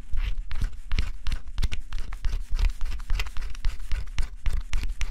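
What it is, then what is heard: Cardboard scratch-off puzzle. A small tool held in the fingers scratches the black scratch-off layer from a flat cardboard jigsaw puzzle, revealing a forest scene. Quick, irregular dry scratches and scrapes come in close succession, with a soft low rumble underneath.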